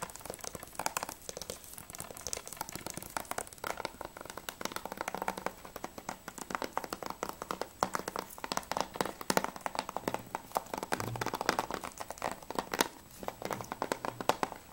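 Fingertips and nails tap rapidly on the front cover of a plastic Battlefield Bad Company PS3 game case, with the case briefly tilted. The result is a dense, continuous stream of short, dry, clicky taps centered in the mids with some bright crackle and very little low end.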